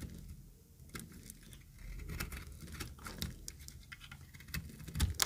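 A pink-green speckled solid dry bar soap is cut and scraped with a utility knife blade. Quiet, dry scratchy crackles and sharp ticks come in irregular bursts over a low rumble, ending with a slightly louder crunch.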